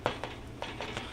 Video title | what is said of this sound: Bread Recipe Tutorial S6 Ep629 | we got a good hollow sound on it when you thump it